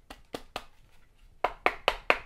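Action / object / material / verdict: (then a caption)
tap / plastic power supply adapter box / plastic / hollow. A very light power supply adapter box, bundled with a cheap Chinese wireless RGB LED panel, is tapped six times. The box gives short, hollow-sounding knocks with almost no ring, in a quicker, louder group of four after three softer taps. The box sounds empty, as if there is nothing inside it.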